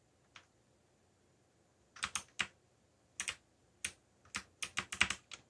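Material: Plastic.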